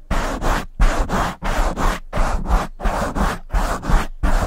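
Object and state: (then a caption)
Foam microphone windscreen being scratched. Long fingernails and fingertips scratch and stroke the sides of a soft, hollow black foam windscreen on a silver microphone. The result is a steady run of rough, breathy scratching strokes with short gaps between them and a heavy, muffled low rumble.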